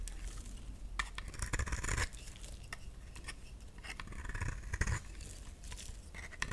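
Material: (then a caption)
Soap. A solid, round, pink bar of dry soap is scraped with a utility knife blade, and fluffy shavings pile up. The sound is a quiet, dry, gritty scraping with soft crackles and brief bright scratchy passes over a low rustle.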